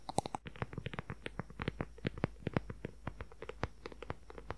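Fingernails tap and scratch quickly on a dark brown, book-sized leather journal cover with a strap closure. About thirty short, dry clicks come in a rapid, uneven run, each with a soft low thump and a faint scratchy edge. They die away almost instantly over a quiet background.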